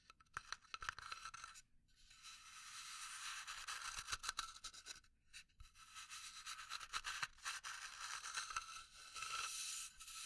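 A small hollow pine wood box is scratched with long nails, giving soft, bright, dry scraping strokes with brief pauses between passes. The sound is quiet, hiss-like and mostly high, with little low end and quick, irregular textured scratches.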